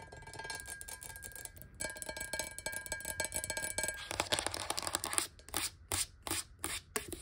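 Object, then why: Glass bottle with a little water. A clear, square, hollow glass bottle holding a little water, standing close to the camera, is tapped rapidly on its sides with long nails. The result is a dense stream of bright, clicky taps over a faint steady ringing tone. Toward the end the taps thin out into separate bursts with short pauses between them.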